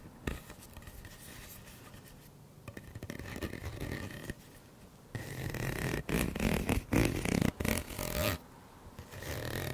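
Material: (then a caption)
Plastic. Fingertips and nails scratch and rub along the ridges of a hollow, purple corrugated plastic pop tube about 30 cm long, held in both hands in front of the microphone. It makes a soft, rasping scrape with a low hollow rumble that stays quiet for the first few seconds, then grows into louder, choppy bursts of scratchy friction in the second half.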